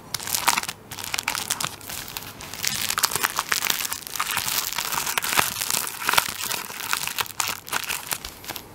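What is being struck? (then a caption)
Plastic film wrapping a tissue paper roll. A hand-held plastic-wrapped tissue paper roll has its plastic film scratched and tapped on the top with fingertips and nails. The result is a steady stream of bright, dry crinkling and crackling with quick taps mixed in, almost no low end, and no ring after each sound.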